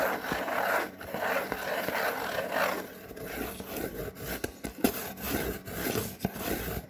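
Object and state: Cardboard mailing box being scratched.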